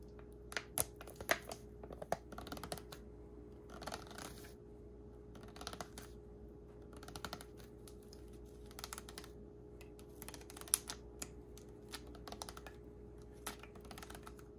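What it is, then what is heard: Plastic water bottle tapped and scratched. Fingertips and nails tap and scratch the ridged body of a small, disposable, clear plastic water bottle with a blue label and white cap, full of water and held in hand. The result is quiet, dry clicks and short bright scratches in scattered bursts, with a faint steady hum underneath.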